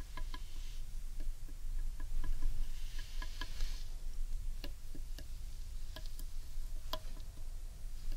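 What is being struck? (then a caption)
Large carved wooden bowl. Long painted nails tap on the underside of a large, hollow carved wooden bowl. The result is a quick, irregular run of short, bright clicking taps over a steady low rumble.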